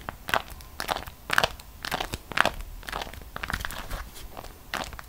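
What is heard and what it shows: A folded, printed beeswax-coated cotton food wrap is held between both hands and squeezed, flexed and crinkled by the fingers, with long decorated nails at its edges. It gives irregular bursts of crunchy, bright crackling and crinkling, each ending almost instantly, with quieter rustling between them.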